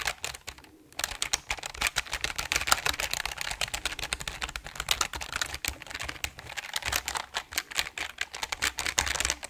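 A full-size RGB-backlit mechanical gaming keyboard with dark plastic keycaps on a grey aluminum top plate is held upright in front of the microphone while both hands rapidly tap and press the keys with their fingertips. A dense stream of sharp, bright plastic clacks plays with very short ring, broken only by a brief pause near the start.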